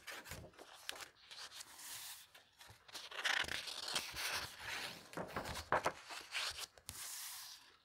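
Fingertips with painted nails flip the thin, aged paper pages of a vintage book illustrated with plants, lying open, and rub them flat. Bright, dry rustles, crinkles and soft papery swishes come in uneven bursts, with a few sharper crackles as pages turn, then settle into quieter smoothing strokes.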